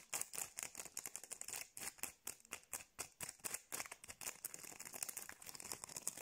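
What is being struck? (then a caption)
Acrylic rhinestone gem sticker. Long blue nails scratch and tap quickly over the raised gems of a small, clear acrylic rhinestone sticker held in both hands. The result is a rapid, steady stream of sharp, bright plastic clicks and scratchy rasps, mostly high-pitched and thin, each dying away almost instantly.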